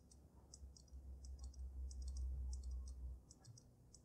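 Fingernails tap rapidly on the glass dome of a water-filled dragon snow globe with glitter. Quick, light, bright clicks come in an uneven rhythm over a steady low hum, which swells through the middle of the clip and then fades back.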